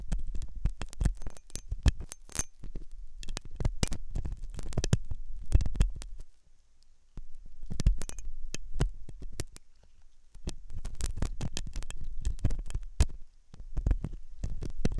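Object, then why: Silicone ear model with metal pick. A metal dental pick scrapes inside the hollow canal of the white soft silicone ear of a binaural microphone. The result is dense bursts of close, muffled scratching and clicking, heavy in low rumble, with two brief quieter pauses around 6–7 s and 10 s.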